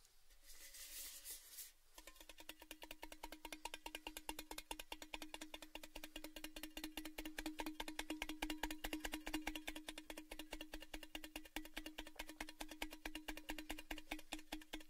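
A large orange Baileys tin tube, hollow and open-ended, is held close to the mic and tapped rapidly with the fingertips. After a brief soft rustle, a steady stream of quick, bright metallic taps begins, each carrying a short hollow ring around 310 Hz. The tapping continues evenly to the end of the clip.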